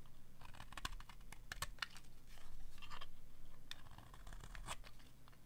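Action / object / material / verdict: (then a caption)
scrape / bar soap scraped with a metal blade / soap / none. A metal blade scrapes along the end of a dry pink bar of soap, shaving off pink curls. The result is a string of dry, crisp scraping crackles and sharp bright ticks over a low steady hum, with short, dead strokes that don't ring.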